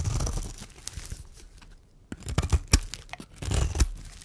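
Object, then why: Bar of soap. A metal blade shaves flakes from the corner of a solid, dry white bar of soap held in the hand. Dry, crunchy scraping and tearing sounds come in bursts, with a broadband rasp at the start and sharper, louder crackling strokes in the second half.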